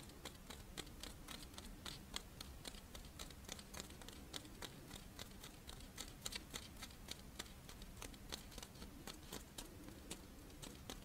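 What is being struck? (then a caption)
Fish-shaped rice wafer monaka. Long nails scratch the embossed surface of a fish-shaped strawberry rice wafer monaka lying in one palm. The result is a quiet, irregular run of quick, dry, crisp scratches and ticks with bright edges over a soft low rumble.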